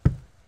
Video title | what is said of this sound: Couple Discover Their New House is Missing a Bedroom! - New Home DIY | you can already hear it's created a dead sound in the room so it should insulate the sound very well